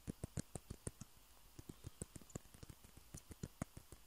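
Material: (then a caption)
Plastic. Fingernails tap and scratch the surfaces of two small hollow white plastic table tennis balls, one held in each hand. About 19 quick, dry, quiet taps sound in an uneven rhythm, each a short low knock with a faint bright tick and almost no ring. A soft scratching hiss fills the gaps between them.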